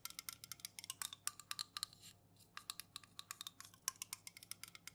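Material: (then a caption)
Aluminum. Long nails rapidly tap and scratch the bare aluminum bottom and rim of an unopened, full Jumex metal juice can held in the hands. About thirty sharp, bright clicks with very short ring come in quick bursts, with a brief quieter stretch just past the two-second mark. The sound is almost all high, with very little low end.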